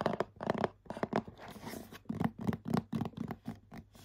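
Both hands scratch the glossy front of a printed, medium-size cardboard bath set box, likely full, with short nails and fingertips. Short, dry scratching bursts come in an irregular rhythm, with a soft, papery, low-mid tone. Each stroke stops quickly, with a quieter, steadier rasp in between.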